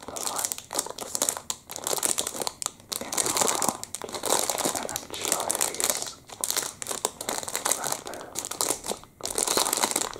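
Fingertips pinch, crumple and crinkle the thin, clear plastic film of a chocolate-muffin packet held up in both hands with the muffin still inside. A dense, bright crackling plays on and off in waves throughout, with brief quieter gaps between bursts.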